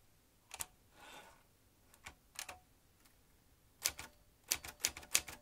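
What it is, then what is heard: Metal manual typewriter typing. Fingertips press the round keys of a vintage metal manual typewriter, driving its typebars in an irregular run of sharp, bright clacks with almost no ring. A soft swish comes between the first strokes, then the typing picks up into quicker clusters of strikes toward the end.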